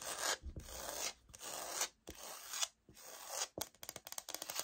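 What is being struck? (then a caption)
Laminate floor sample. Long nails scratch across the grain-textured surface of a light oak, wood-look laminate floor sample held and tilted in the hands, making several long, bright, rasping strokes. The scratching ends in a quick run of sharp, dry taps on the same sample.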